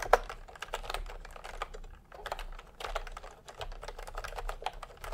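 Fingertips type in continuous taps on a full-size plastic typewriter-style computer keyboard with round retro keycaps in peach and cream, lying on a white cloth. Quick, short-lived clicky taps with a mid-range body and little sustain come in uneven bursts, with one sharper, louder keystroke near the start.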